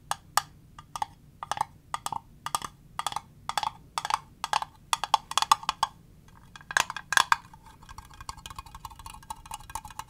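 A small, transparent, rigid plastic cube box with green contents inside is held in the hands and tapped with fingernails on its flat faces and edges. It gives a steady run of short, dry, clicky taps with a hollow mid pitch and bright edges that die away almost instantly. Near the end the taps turn into a faster, lighter patter.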